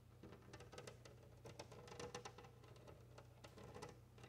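Long nails scratch a large, flat glass window pane while fingertips of both hands tap and rub across it. Quick, bright ticks and taps come in uneven clusters over a steady low hum, each one dying away almost at once.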